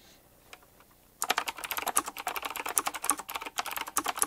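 After about a second of near silence with a few faint ticks, fingertips type quickly on a full-size typewriter-style mechanical keyboard with round black plastic keycaps, chrome-look rims and a metallic frame. A fast, uneven stream of sharp, bright clicks and clacks follows, each one dry and short with almost no low end.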